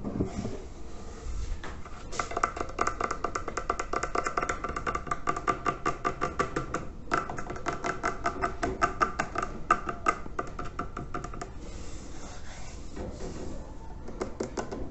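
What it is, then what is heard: Clay water filter tapped. Fingertips tap quickly on the clay body and red bands of a large hollow terracotta water filter. Rapid, uneven bursts of short, dry knocks carry a faint hollow ring around 1.2 kHz, pausing briefly near the middle before tapering into softer, sparser taps.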